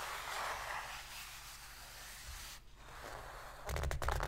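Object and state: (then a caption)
Cardboard box lid. Two long pink fingernails scratch and rub the inner bottom of an empty, shallow white cardboard box lid, making a soft, bright, papery scraping that fades to near silence. Both hands are then laid flat on the lid, bringing a louder burst of rapid rustling with a dull low thump.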